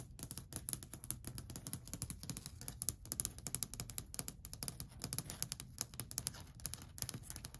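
Long white acrylic nails tap and scratch along a long, flat, solid varnished wooden shelf ledge. A quick, steady run of many dry taps follows: each is a bright, crisp click over a soft low knock that dies away almost at once, with faint scratching between hits.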